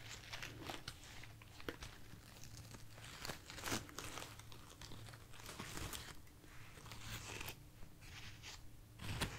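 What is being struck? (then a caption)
Artificial foam roses. A bunch of light, soft white artificial foam roses, held in the hand, is scratched and rubbed with long nails and fingertips. Soft, crinkly, crunchy scratching and rustling come in short bursts with bright edges over a steady low hum.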